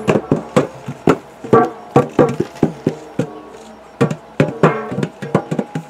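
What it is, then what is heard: Metal tin. A metal tin is tapped around twenty times in a quick, uneven rhythm. The taps are short, dry and hollow with a low-mid resonance that dies away almost at once, over a faint tonal background. The tin gives a pleasing sound.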